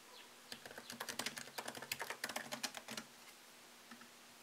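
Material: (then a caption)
Plastic. Fingertips tap the plastic keycaps of a MacBook Pro laptop keyboard set in an aluminium body, typing slowly. A burst of short, bright, dry clicks runs from about half a second to three seconds, irregular in timing, then a couple of isolated taps follow near the end over a quiet low hum.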